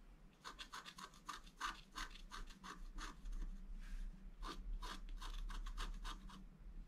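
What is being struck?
Scratch art paper card scratched with a wooden stylus.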